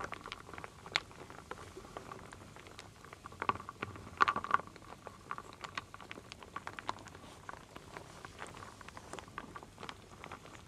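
A wooden spoon stirs a full wooden bowl of solid wooden beads, acorns and leaf shapes, handled with long nails. The stirring makes a quiet, irregular patter of dry, short clicks and clacks with a woody ring around 1.1 kHz, swelling to a brighter cluster of knocks around the four-second mark before settling back into soft rattling.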